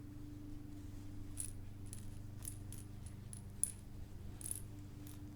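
A terry cloth plush lamb with a rattle insert is shaken, giving short, bright jingling rattles in scattered bursts. A steady low hum sits underneath throughout.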